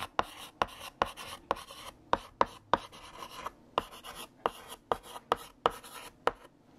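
A stick of green chalk held in the fingertips writes text across a large, solid, flat black painted chalkboard. Sixteen sharp taps as the chalk meets the board are each followed by short, dry, scratchy strokes centered around 950 Hz, with brief pauses between letters.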